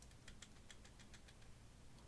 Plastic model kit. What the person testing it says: simply because the legs are, by the Zeta's design, the heaviest part of the body